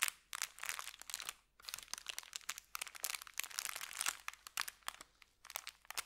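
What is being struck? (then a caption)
Thin kraft paper bag. Fingertips press, crinkle and rub an empty, flat, thin brown kraft paper bakery bag with red print against a felt surface. The result is dense, bright crinkling and crackling in quick bursts, with brief pauses around the 1.5- and 5.3-second marks and no low end.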